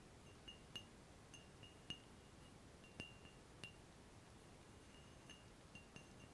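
A large, clear, empty, hollow round-bottom glass flask is held by the neck while fingertips and nails tap its bulb and neck. About ten irregularly spaced, chime-like taps ring at a bright pitch near 2.9 kHz with high overtones. Each decays quickly over a low, steady background hiss.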